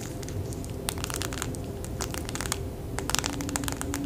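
A small flat package of cow-print press-on nails, a clear plastic blister tray on a blue card backing, is held over a towel and tapped and scratched with fingernails. Quick, bright plastic clicks and crinkly scratches sound over a low, steady rumble.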